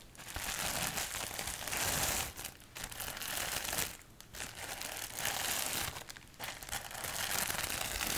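A large sheet of clear plastic bubble wrap, held near the microphone, is scratched and crinkled with long acrylic nails. It makes dense, bright crackling and crinkling in four continuous stretches, separated by three brief quieter pauses.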